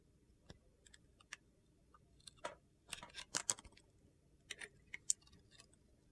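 A metal utility knife blade cuts and scrapes thin slices off the edge of a solid, hand-sized red bar of soap with gold glitter and star sequins, held in one hand, exposing yellow soap underneath. Quiet, crisp, bright scraping clicks and short crunchy bursts come at irregular intervals over a faint low hiss.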